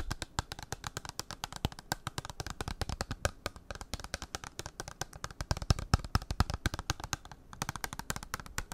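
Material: Cardboard.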